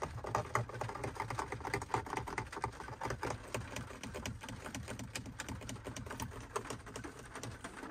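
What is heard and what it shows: Fingertips tap quickly on the hard plastic button panel fixed below a car's dashboard screen, giving a dense run of short, dry clicks and taps with little ring. Rain falls on the windshield, adding a steady low wash beneath the tapping.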